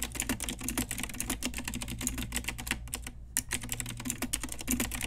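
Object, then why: Plastic mechanical keyboard keys. Fast typing on a pink Ajazz retro typewriter-style mechanical keyboard with round plastic keycaps, both hands striking with long nails and fingertips. Quick, bright plastic clicks and clacks run in a dense stream with a brief pause near the middle, over a steady low hum.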